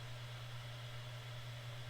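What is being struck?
Nothing is struck.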